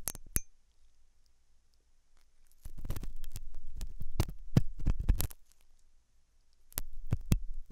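A hooked metal dental tool scratches inside the ear canal of a white, translucent, soft solid-rubber silicone ear model, likely mounted on a binaural ear microphone. Two sharp clicks open the clip, followed by a quiet pause and then a dense run of close, muffled scraping with low rumbling thuds and bright, crisp clicks. After a second lull, a shorter burst of scratching returns near the end.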